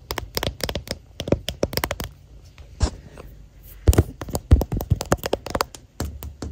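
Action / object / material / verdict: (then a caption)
tap / clear plastic phone case / plastic / none. Fingernails tap quickly across the back of a hand-sized, hollow, transparent plastic phone case with a white flower print, fitted on the recording phone and near its camera. Rapid bursts of dry, short clicks land close to the mic with a low knock underneath, bright ticks on top, and almost no ring. A quieter stretch with a few soft, scratchy touches falls in the middle before the quick tapping resumes.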